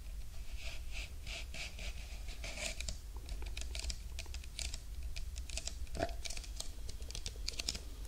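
A large, hollow Burger King paper drink cup, held in both hands in front of a binaural microphone, is tapped with long nails. The result is a rapid, uneven run of crisp, dry, bright clicks and light scratches, each dying away almost instantly over a steady low background rumble.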